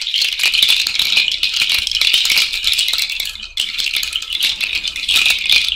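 A cowrie shell bracelet is shaken overhead by hand, giving a continuous bright, dry clattering rattle of shells knocking together. The rattling runs steadily with a brief drop in the middle before resuming.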